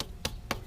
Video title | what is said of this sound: Chopper on 38 inch rows and Short Wheel Base | you tap on it and it's solid. I don't know if they filled it with lead or what. But that's solid.